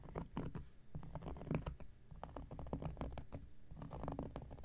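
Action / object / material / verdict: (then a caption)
scrape / cork coaster scratched with a knife blade / cork / none. An X-Acto knife blade scratches a large, round, flat coaster of solid cork lying on a surface. Quiet, dry scraping strokes come in an irregular patter of short bursts, with a dull, low-weighted texture and no ringing after each stroke.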